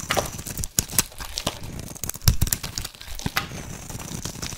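A solid rectangular white soap bar, held in one hand, is shaved with a flat metal blade as thin curls peel off. The scraping cuts make a dry, crinkly, crackling sound with many quick, sharp, bright ticks over a soft low rumble.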